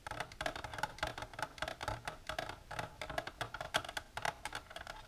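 Long natural nails with silver polish tap along the sides of an empty, hollow, rectangular transparent plastic container, first tilted and then held level. A fast, uneven run of sharp, hollow clicks with a midrange tone around 630 Hz and bright edges, each tap dying away almost at once.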